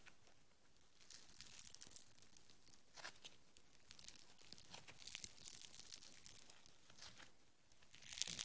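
A small, soft, solid lump of green foam bead modeling clay is held in the hands while fingertips with long nails squeeze, knead and pull it apart. The result is a quiet, steady stream of bright, crackly tearing and crinkling sounds, with a louder burst of crackling at the very end.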